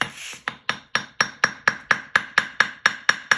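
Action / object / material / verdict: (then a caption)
strike / steel anvil struck with a hammer / steel / dead. A hammer strikes a steel anvil with a magnet attached, about a dozen evenly spaced blows after a brief rasping noise. Each strike is a short, bright clank around 1.7 kHz that cuts off almost at once. The magnet damps the anvil, so the ring is dead.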